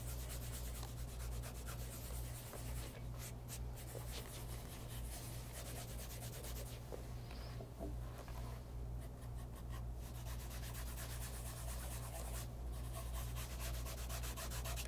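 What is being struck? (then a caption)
Leather loafer rubbed with a cloth. A white polishing cloth wrapped around the fingertips rubs a light brown pebble-grain leather loafer, a hollow shoe resting on a leather lap pad. Quick, soft, brushy strokes repeat steadily over a constant low hum, with no distinct separate hits.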